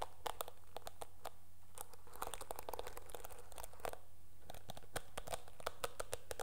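Long nails scratch across the dark bristles of a teal plastic hairbrush. This makes a quiet, dense stream of crackly, bright clicks and rasps over a steady low hum.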